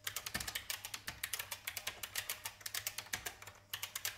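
Continuous fingertip typing on a vintage beige plastic IBM mechanical keyboard resting on a wooden desk. About thirty-two sharp, bright clacks come in a quick, uneven rhythm, each dying away almost instantly, with very little low end.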